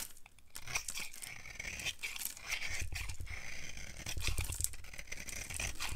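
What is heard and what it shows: A solid, dry, pale yellow oval bar of soap held in the palm is scraped and carved with a utility knife, shaving off powdery flakes. Dense, rapid, dry scraping crunches with a bright hiss run steadily throughout, over a low rumbling undertone.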